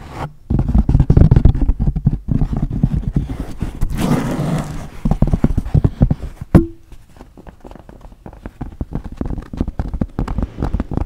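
A wide-brim pink wool felt fedora hat with a hollow crown is held over a microphone while long blue nails tap and scratch its crown, then it is lifted close to the camera. Dense, muffled low thumps and soft scratching fill the clip, with a brushy rustling swell around four seconds and a sharp click with a brief ringing tone near six and a half seconds. Afterward, the tapping continues more quietly.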